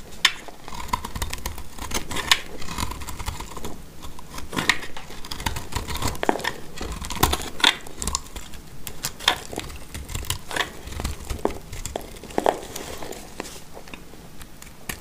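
A black utility knife blade scrapes crumbly flakes from a dry, solid, marbled green-orange oval soap bar held in the hand. The result is a steady run of quick, dry, crisp scratching ticks with a bright edge, each one dying away almost instantly.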